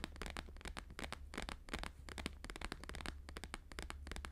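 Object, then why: Plastic-laminated paper sheet. Both hands tap fast with fingertips and nails on a thin, flexible, flat square sheet of plastic-laminated holographic paper lying on a fur rug. The result is a dense, quick run of sharp, bright, crackly clicks with very short decay, over a steady low hum.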